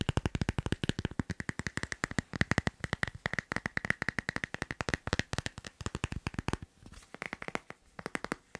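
Fingertips and nails rapidly tap the back of a teal leaf-print glossy plastic phone case on a phone held in the hand. About 67 quick, dry, clicky taps follow one another with almost no ring, each a short crack with a low thump and a bright tick. The tapping eases slightly in level near the end.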